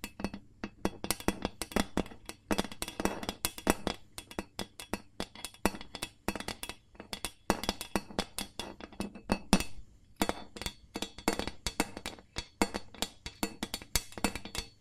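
An empty, hollow, medium-sized gold ribbed carbon steel loaf pan is held upside down close by while its bottom is tapped with long nails and fingertips. The result is a rapid, uneven run of short, clicky metallic taps with a bright, glassy edge and a low hollow body around 195 Hz, each dying away almost at once.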